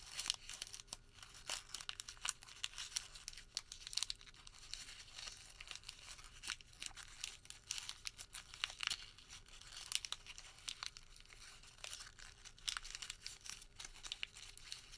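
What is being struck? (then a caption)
Crumpled thermal paper receipt. A small, crumpled white thermal paper receipt is pinched and twisted between the fingertips, producing a steady stream of quiet, crisp crinkles and sharp crackling snaps. The sound is bright and papery, with little low end, and runs continuously for the full fifteen seconds over a faint, steady hum.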